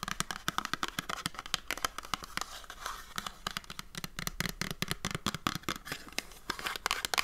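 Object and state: Cardboard soap box.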